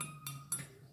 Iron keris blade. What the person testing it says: dari segi besinya ini sangat puas sekali bunyinya Ting nyaring